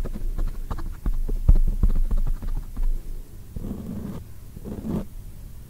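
Long acrylic nails tap and scratch a black foam microphone windscreen. Rapid, muffled, deep thumps fill the first half, then give way to softer rustling scratch bursts. The sound is dull and boomy, with almost no high end.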